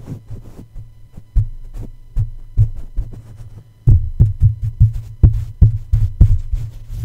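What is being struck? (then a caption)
Metal mesh microphone grille. A plush toy's soft feet tap repeatedly on top of the hollow black metal mesh grille of a red microphone. About fifteen dull, low thuds land at an uneven pace, each dying away almost at once over a steady low hum, with the second half tapping louder.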